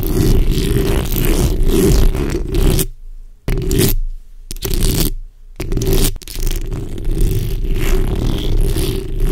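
The backs of long acrylic nails on both hands scratch across the hollow metal mesh grille of a black microphone, producing a dense, continuous low rumbling scrape. The sound drops out briefly a few times near the middle before the steady scratching resumes.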